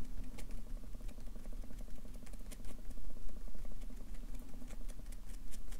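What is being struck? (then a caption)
Paper sheets on a clipboard, tapped with a felt-tip marker. A Sharpie marker's felt tip taps rapidly on a stack of white paper on a clipboard, stippling dot shading. Quick, light, dry ticks with bright, crisp edges come in a steady patter over a low, constant rumble.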